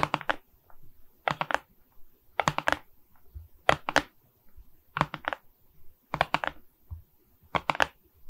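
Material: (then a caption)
Plastic resin. A framed board covered with small faceted resin beads from a diamond painting is held in both hands while long red nails tap across the bead surface. The clip has quick clusters of sharp, dry clicks that rattle and die out almost instantly, spaced about a second apart with brief quiet gaps between them.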